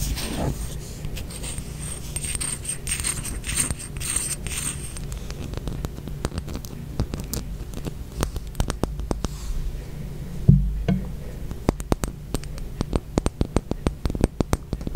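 A small blue glass dropper bottle with a paper label is held in one hand and tapped and scratched with long acrylic nails. Soft, continuous scratching fills the first half. It gives way to a rapid run of sharp, short clicking taps over a low background hum.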